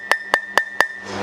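A steel bearing race is tapped into a Jeep CJ Dana 30 hub with a hammer and driver, giving four sharp, evenly spaced metallic clinks with a steady ringing tone near 1.8 kHz. The race is not yet fully seated and is going in a little crooked on one side; the sound will change once it reaches the bottom.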